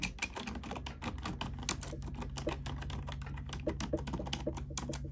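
A black plastic computer keyboard is typed on rapidly with both hands, using fingertips and nails. The result is a dense, continuous stream of short, bright clicks and clacks over a steady low hum.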